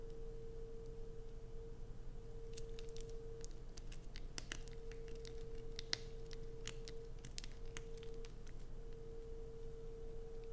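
A solid blue bar of soap, carved and grooved, is held in both hands and scratched with long pointed nails, its shavings falling onto a black plastic sheet. Short, crisp, bright scratches and clicks come at an uneven pace over a quiet, steady low hum and a constant faint mid tone.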